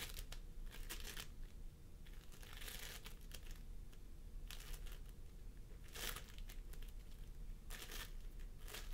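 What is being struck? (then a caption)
Floam foam with polystyrene beads. Fingertips of both hands press and squish a pastel mound of floam sculpting foam made of polystyrene beads on a wooden table. The foam gives soft, sticky crinkling and crackling in repeated bright bursts over a steady low rumble.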